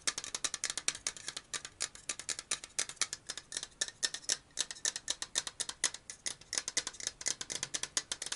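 Fingernails tap and scratch rapidly on a black and purple cylindrical metal aerosol deodorant can held sideways. The result is a steady stream of crisp, bright clicks and scrapes with almost no low end, each one cut off short with no ring.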